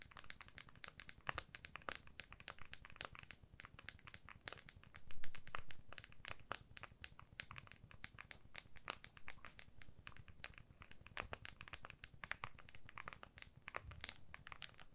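An iPhone in a clear plastic case lies flat under the hands while long nails tap and scratch its back surface. The result is a dense run of short, sharp clicks with bright, crisp edges over a low, soft rumble, and a slightly louder scratchy swell around the middle.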